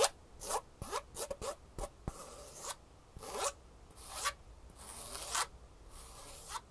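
Long nails scratch the textured fabric top and foam edge of a green Superfeet foam shoe insole held upright. The result is a quiet series of bright, dry rasping strokes: quick short scratches at first, then longer, smoother sweeping rubs.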